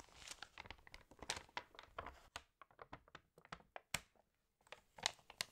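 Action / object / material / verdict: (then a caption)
tap / glossy paper catalog pages / glossy paper / none. Pages of a glossy paper fashion catalog are turned and crinkled while fingernails tap on them. The sound is a quiet run of crisp, bright crackles and short sharp ticks with almost no low end, broken by a brief silence before the crinkling resumes.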